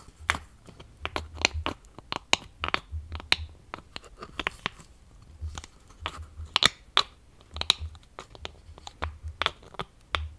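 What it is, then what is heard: Plastic lotion bottle. Fingernails tap and scratch on the cap and body of a medium, partly full plastic lotion bottle with a yellow plastic cap. The result is a steady run of sharp, dry clicks and bright scratchy ticks that stop instantly, with a faint low thump under some of the taps.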